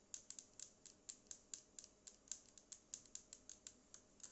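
Long nails tap and scratch the body and edge of a small black Bluetooth speaker with a matte plastic body, a yellow logo and a hollow casing. About 22 quick, dry clicks are heard in a steady rhythm, each one bright and crisp and dying away almost at once, with almost no low end beneath them.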